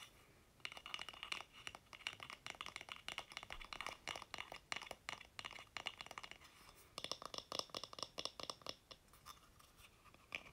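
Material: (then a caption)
Wood. A small, solid, painted wooden block sign held in the hands is tapped and scratched with fingertips and nails across its faces and edges. The result is a dense run of quick, dry, bright clicks and scratchy rasps with almost no low end. The sound is quiet and close, with a sharper, brighter stretch of scratching in the second half.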